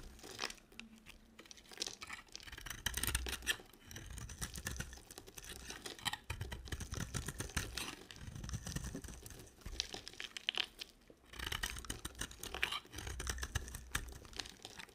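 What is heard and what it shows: A solid dry soap bar with a blue coating, held in hand, is scraped and carved with a box cutter blade, and flakes fall off. The sound is a continuous run of dry, crisp scraping and crunching with bright, high rasps over low thuds, coming in uneven bursts.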